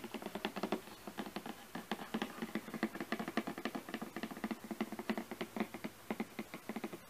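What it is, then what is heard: Cardboard box. Fingernails tap and scratch the top surface of a glossy printed cardboard product box. Around forty quick, dry taps fall in an uneven rhythm, each with a hollow, papery knock and almost no ring. Soft scratching fills the gaps between them.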